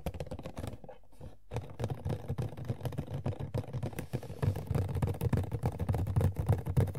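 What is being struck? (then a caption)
Small cardboard collectible box. Fingertips and long nails tap quickly on an empty Sailor Pluto Funko POP cardboard box lying on its back, small and hollow. The result is a dense, uneven patter of soft, low, hollow thuds with short bright clicks from the nails. There is a brief lull near the one-second mark, and the tapping grows fuller and louder toward the end.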